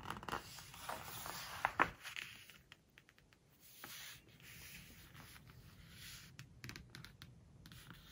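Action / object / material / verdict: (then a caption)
scrape / glossy paper book pages / glossy paper / none. A flat hand rubs the glossy paper page of a large open hardcover book, then a fold-out page is bent and turned with the fingers in a burst of crisp rustling and sharp crinkles. Quieter, drier scratching follows as fingernails scrape across the smooth page, with soft, bright, papery textures throughout.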